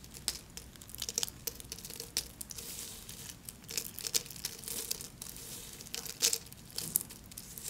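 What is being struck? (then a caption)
Thin soap flakes. A pile of thin pink soap flakes resting on paper is broken with fingertips, then crumbled and rubbed into fine pieces with both hands. The result is a quiet, bright, dry crinkling and crackling made of many small sharp snaps over a soft rustle, with almost no low end.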